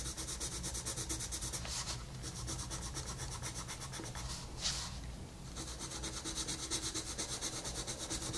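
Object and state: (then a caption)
Colored pencil shading on a paper page. A wooden colored pencil held in the fingers shades a thin paper page of an adult coloring book with a wolf design, lying flat on a table. Quick back-and-forth strokes make a steady, bright scratchy rubbing over a low hum, with one louder swish midway before the strokes resume.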